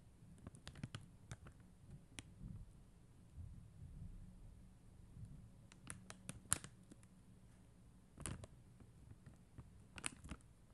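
Long mint-green fingernail tips tap on a blue and clear acrylic rhinestone sticker sheet. Quiet, sparse clicks come in small clusters with gaps between them, each very short and bright, over a soft low rumble.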